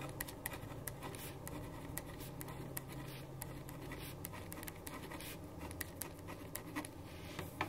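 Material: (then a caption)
Paper. A black ballpoint pen writes steadily on a white paper sheet resting on a wooden desk. The result is a quiet, continuous scratching with brief bright strokes over a steady low hum.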